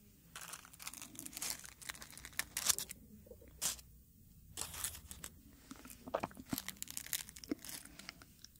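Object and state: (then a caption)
Dried rose head, brittle. A single dried dark red rose head with brittle petals is rubbed and crinkled between fingertips close to the microphone. Bursts of bright, dry crackling and papery tearing come in uneven clusters, separated by brief near-silent pauses.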